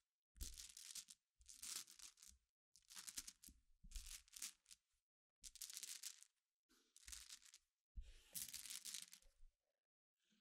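Long black fingernails and fingertips scratch and tap across a dense layer of small, solid, clear glass pebbles. About eight separate bursts of bright, scratchy clicking and rattling are broken by short silences, with the last burst cut off at the end.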